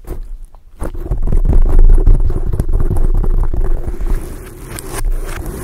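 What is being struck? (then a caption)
Foam microphone windscreen. Long acrylic nails scratch a soft, porous black foam windscreen over a microphone head. This produces a dense, low, rumbling scrape with fast, uneven scratching strokes. It is quiet at first, swells loud after a brief pause, and then eases off slightly.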